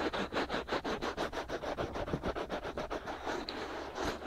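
Fingertips and short nails scratch and rub both white, soft silicone ears of a binaural microphone while the hands cup them. About sixteen quick, dry scratching strokes come in a steady rhythm, each a brief rasp that is strongest in the low-mid and upper-mid range, with little bass and a faint bright edge.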